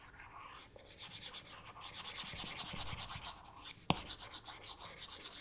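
A plastic stylus nib rubs and taps across the flat glass touchscreen of an iPad tablet in short drawing strokes. The result is a steady, bright, papery scratching with rapid rhythmic swishes and one sharp, louder tap near the end.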